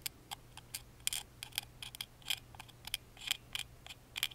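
A small hollow laser-cut wooden music box with a carved front panel is held in the hand while a wooden toothpick tip taps and traces its engraved grooves. About eighteen quick, dry, bright clicks and scratchy ticks are heard, each ending almost at once over a faint low hum.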